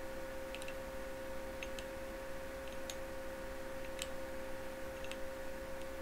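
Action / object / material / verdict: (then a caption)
tap / glass light bulb / glass / none. Fingertips and nails tap and click on a small, hollow, clear glass incandescent bulb with a metal screw base as it is turned in both hands over a reflective table in a dim, candlelit setting. Faint, bright, scattered clicks sit over a steady low hum and a continuous mid-pitched tone.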